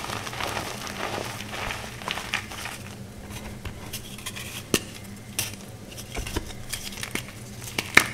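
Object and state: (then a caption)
Gym chalk block being crumbled. Solid green gym chalk chunks are crushed and crumbled into fine powder between the fingertips and palms of both hands. Soft, dry, bright crackling and gritty crunching run throughout, broken by several sharper snaps as pieces give way, over a faint steady low hum.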